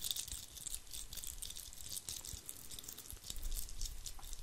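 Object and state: Glitter-covered Christmas bauble.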